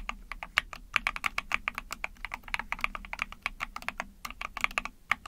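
Rapid typing on an Epomaker TH40, a small 44-key mechanical keyboard with an ABS plastic case, a PC plate, and backlit pink and white keycaps, pressed with long painted nails and fingertips. The keys give a steady stream of quick, bright plastic clacks and clicks that stop almost instantly, over a faint low hum.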